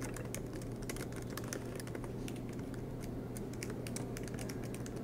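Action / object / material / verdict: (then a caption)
tap / plastic laptop keyboard keys / plastic / none. Both hands type continuously with their fingertips on the black plastic low-profile keys of a MacBook Pro laptop with a silver aluminum body, resting on a green desk mat. Rapid, light key taps make bright clicks over a steady low hum.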